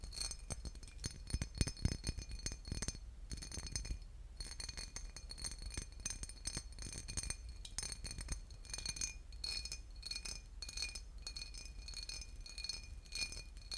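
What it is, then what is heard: Glass bottle with liquid. A boot-shaped glass bottle with liquid inside is tapped and scratched, giving rapid glassy clinks and scrapes with bright ringing overtones. A steady low hum runs underneath, and there is a brief quieter gap near 3.5 seconds.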